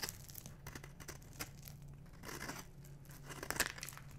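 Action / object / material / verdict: scrape / bar of soap scraped with a metal knife / soap / none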